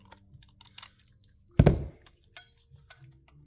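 A butter knife scrapes and digs at the surface of a cast concrete sample, producing faint scratchy ticks and then a loud, low crunch as a piece breaks away, followed by one sharper crack. The surface is crusty and busts apart easily, showing weak concrete.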